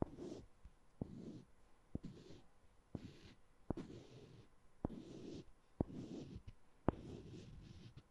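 Two small, solid, palm-sized wooden balls are held in both hands with long manicured nails and clicked and rolled against each other. Sharp, dry clicks land roughly once a second, with a soft, low grinding rustle as the balls roll between strikes. The sound is quiet and close, with no ringing after each click.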